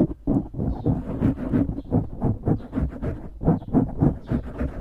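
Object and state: Foam microphone windscreen being scratched.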